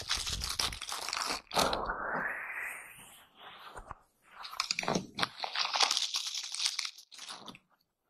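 An oval bath brush with natural bristles is scrubbed against a transparent surface, close up. Dense, bright, crunchy scratching comes in rough bursts, with one longer sweeping scrape that rises in pitch. Brief pauses separate the bursts before the scrubbing fades out.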